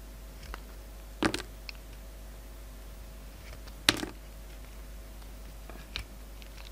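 A utility knife blade shaves the lilac metallic coating off a hand-sized, solid peach bar of soap. Short, sharp scraping clicks with a bright, crackly edge come at irregular intervals, the loudest pair near the middle. Between cuts there is only a quiet, steady low hum.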